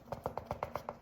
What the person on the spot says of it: it's loose yeah look it rattles